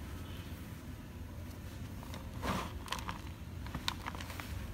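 Fingertips and thumbs pinch, crush and rub a heap of pinkish-white dry crushed gym chalk (magnesium carbonate powder) crumbs, letting them fall back onto the pile. Soft gritty crunches and brief bright crackles sound over a steady low rumble, with a louder crumbling burst midway.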